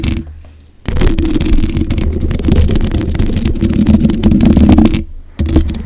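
Long white acrylic nails scratch and tap the hollow black metal mesh head of a microphone. The result is a dense, close, low-heavy rumbling scrape with a bright crackly edge, broken by two short quiet gaps near the start and near the end.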